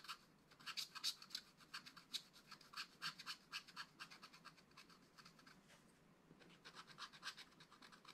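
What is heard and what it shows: A wooden stylus scratches lines across the black-coated card of a flat, spiral-bound scratch-art pad. Quiet, bright, dry scratching strokes come in quick, uneven bursts of about four per second, fading to a softer, steady rasp midway before the stronger strokes return.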